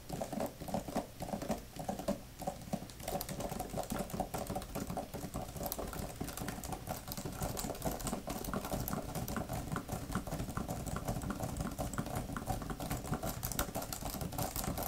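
Long nails patter and type rapidly on a grey, thin plastic laptop keyboard type-cover with flat plastic keys. The result is a dense, steady stream of short, dry clicks and taps with a soft, low-weighted thud and little brightness, continuing throughout the clip.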